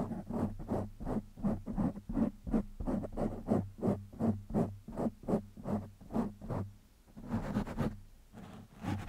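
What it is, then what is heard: Foam microphone windscreen being scratched. Fingertips of one hand scratch a black foam windscreen on a microphone in quick, fairly steady strokes, making about 16 soft, rough scratching bursts that stay low and muffled. A steady low hum runs underneath, and near the end the strokes blur into a longer rustle before a few more scratches.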